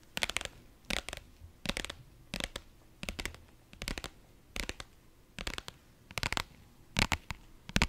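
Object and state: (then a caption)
Vinyl zip pouch. A small, flat, pink holographic faux-leather/vinyl zip pouch, soft and hollow, is held in both hands and scratched and tapped with long nails. Short, dry, crinkly bursts of quick scratches and taps come roughly once a second, bright and crisp on top with a soft, low, hollow thud underneath, and each stops almost instantly with no ring between bursts.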